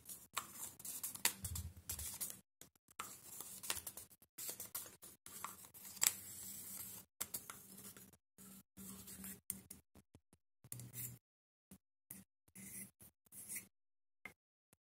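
A small black hollow plastic cylindrical highlighter stick, held in one hand, is tapped with the fingertips and nails of the other hand, and its cap is handled near the end. The result is many quiet, bright, dry plastic clicks and scratchy rustles that die away at once, coming in irregular bursts separated by short silences.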